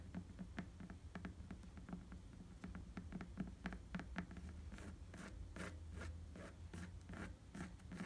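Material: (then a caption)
Rubber. Fingertips scratch across the tread of an inflated tan rubber bicycle tire, making a run of short, dry scratching ticks over a steady low hum. The early strokes are crisp, brief clicks. Later they turn into longer, brighter rasping scrapes.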